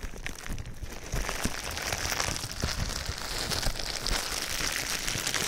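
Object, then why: Plastic bubble wrap. Clear plastic bubble wrap wrapped around a microphone is rubbed and pressed with fingertips. It makes a steady, dense crinkling and crackling with bright high hiss and low rumbling thumps from the handling. The sound grows slightly louder after the first second and stays busy throughout.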